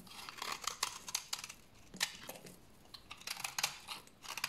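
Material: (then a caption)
Soap. A solid, dry brown bar of soap held in the hand is shaved with a utility knife blade, throwing off crunchy flakes. Quick, dry scraping and crackling strokes come in bursts, bright and crisp with almost no low end. Each stroke dies away almost at once, with quieter pauses between the clusters.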